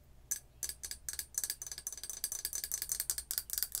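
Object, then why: Ceramic coffee mug. A large, hollow printed ceramic mug, held by the handle, is tapped on its side and rim with long acrylic nails. After a brief quiet start, a quick, irregular run of about seventeen bright, clicky taps follows. Each tap dies away almost instantly, with little low end.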